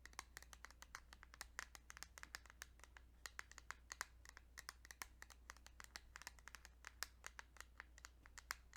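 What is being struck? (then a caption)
Plastic game cartridge. Fingertips tap quickly and lightly on a plastic Kirby's Dream Land 2 Game Boy cartridge, making a dense run of short, dry, bright clicks. A low, steady hum sits underneath, and each tap dies away almost at once.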